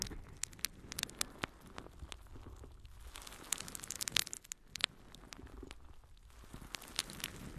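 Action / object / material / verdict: scrape / natural sea sponge / sea sponge / none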